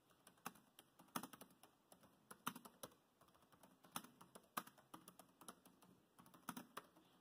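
Fingertips of both hands type on a dark grey plastic laptop chiclet keyboard. About 29 quiet, short plastic clicks come in an uneven run, each dry and clipped with no ring. The clicks sit mostly in the mids with a light bright edge and little low end.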